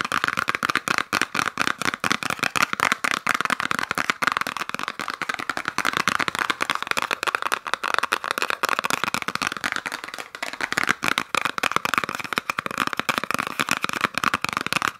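A small, hollow cardboard gift box wrapped in peppermint-print paper with a red ribbon is scratched and tapped rapidly with fingernails close to the mic. Dense, crackly clicks and scratches run without pause, with a bright papery rasp centered in the upper mids and almost no low end.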